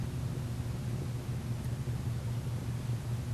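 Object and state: Nothing is struck.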